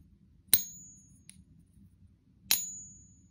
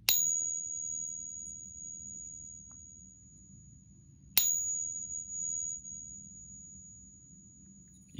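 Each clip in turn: First: pure copper round, short ring. Second: fake brass Morgan dollar, long ring.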